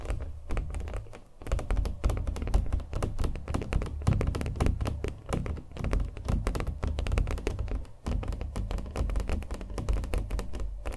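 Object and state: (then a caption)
Acrylic-painted stretched canvas. Fingernails tap and thunk on a small, taut stretched canvas coated in thick acrylic paint and held in the hand. The steady run of quick taps sounds dull and low, with almost no ring and little high content, over about eleven seconds.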